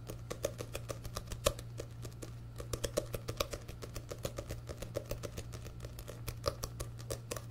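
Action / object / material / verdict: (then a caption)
tap / paperback book with paper cover / paper / none. Fingertips and nails tap and scratch the back cover of a solid orange paperback book with a paper cover, held upright. Dozens of quick, dry taps with a woody knock around 550 Hz and bright scratchy clicks ring out over a steady low hum. Each tap dies away almost instantly.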